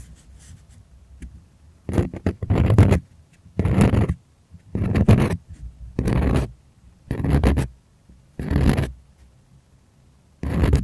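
Fingertips and nails scratch and rub the taut, hollow-backed surface of a white primed cotton artist canvas stretched on a wooden frame, held close to the microphone. Repeated bursts of rough, scratchy rubbing, about a second or less each, are separated by near-silent pauses. Each has a deep, hollow, drum-like low body under a bright, hissing fabric texture.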